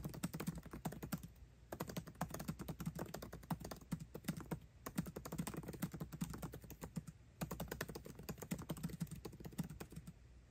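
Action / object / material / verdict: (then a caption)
tap / laptop keyboard with plastic keycaps in an aluminium body / plastic / none. Fingertips type fast on a MacBook Pro keyboard with plastic keycaps set in an aluminum body. The result is a rapid, steady stream of short, dry key clicks with a soft low thump. Brief pauses break it up near 1.5, 4.7 and 7.4 seconds.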